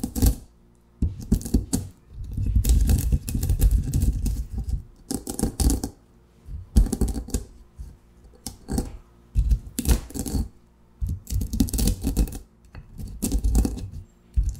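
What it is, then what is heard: Coffee beans crushed in a granite mortar. Whole roasted coffee beans are crushed and ground by hand with a granite pestle in a large, solid grey granite mortar. Bursts of dense, heavy crunching and gritty grinding come in uneven rounds, with sharp cracks, low thuds and brief quiet pauses between them.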